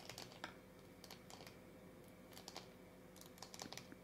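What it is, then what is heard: Plastic toy capsule tapped with nails. A hand-sized, purple-and-white hollow plastic Hello Kitty-shaped LOL surprise capsule is held in both hands and tapped and scratched with long dark-painted nails. Quick, bright, clicky taps in irregular bursts sound much like keyboard typing over a faint steady hum, each hit fading almost instantly.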